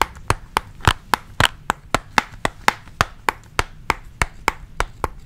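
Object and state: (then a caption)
Plastic pencil case. Fingertips and nails tap a flat, hard pink plastic pencil case with a printed sticker on it. There are 20 sharp, dry clicks in a steady rhythm, each with a bright midrange tone around 860 Hz. Every click dies out almost instantly, leaving only a faint low hiss between taps.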